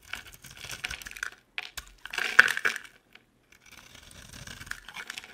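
A utility knife blade repeatedly shaves and scrapes a hand-sized, solid, oval green bar of soap with round holes, held in one hand, and crumbly flakes fall off. Dry, crisp scraping and crackling come in short bursts separated by brief silences, with a louder, brighter flurry in the middle.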